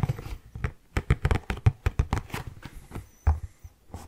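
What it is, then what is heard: Cardboard tissue box scratched. An orange Kleenex cardboard tissue box, hollow and rectangular, is held in both hands and scratched and rubbed with fingernails. The result is a quick, irregular series of short, dull, low tapping and scraping sounds with almost no ring, interspersed with faint brighter scratches.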